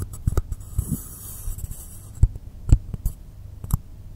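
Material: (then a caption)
Polystyrene foam. Fingertips and nails tap and scratch the top and sides of a solid, long rectangular blue polystyrene foam (XPS) block lying on a dark cloth table. Soft, dull, low thuds come at an irregular pace, with a brief airy scratching rustle early on. A steady low hum sits underneath.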